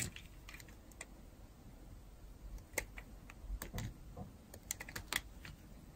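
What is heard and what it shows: A metal blade scrapes and carves the surface of a solid, dry pink-and-white striped bar of soap. Short, crisp scraping clicks and ticks come in irregular bursts, bright and sharp with a soft low rumble underneath, each cut stopping almost at once.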